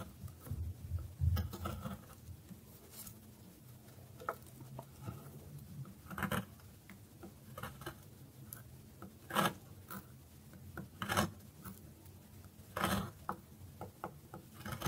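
A metal knife slices thin layers off the carved face of a solid bar of dry soap held on a wooden board. Soft, dry scraping and crisp little cuts come in uneven bursts over a low, quiet rumble, with a few louder, brighter strokes standing out.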